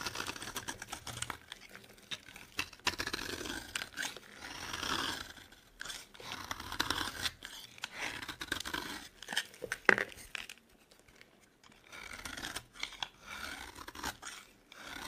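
A metal blade cuts grid lines into a solid, dry yellow bar of soap and shaves flakes from its surface. Bursts of crisp, bright crunching and scraping, like tearing, come with a sharp snap near the ten-second mark and a brief quiet pause before the shaving resumes.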